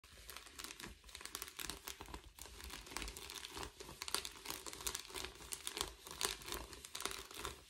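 Lace-gloved fingertips and nails scratch and crinkle the bubbled surface of a flat, thin, empty blue metallic foil bubble mailer held upright. The result is a dense, continuous stream of bright, crisp crinkles and scratchy rustles, with little low end. The rustling swells and fades in quick, uneven bursts.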